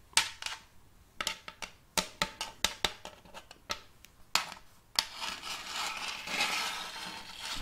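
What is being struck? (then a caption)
Wooden serving tray. Long fake nails tap on a round, shallow, glossy wooden serving tray with a raised rim, empty and hollow underneath and held tilted in one hand. About fifteen sharp, bright, dry clicks with almost no ring come first, then the nails switch to a steady, hissy scratching across the surface that continues to the end.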